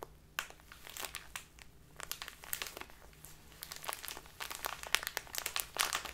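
A small crinkly plastic bag full of loose tea is held in both hands and squeezed and crinkled with fingertips and long dark-polished nails. Bright, dry crinkles and sharp crackles come in quick, irregular bursts with almost no ring. A faint low hum sits underneath throughout.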